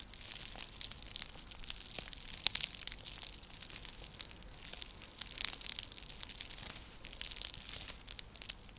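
Long nails scratch across a round, flat, coiled woven seagrass/straw coaster used as a trivet. The result is a dense, dry crackling and rustling, mostly bright and high, with many quick scratchy ticks and little low end.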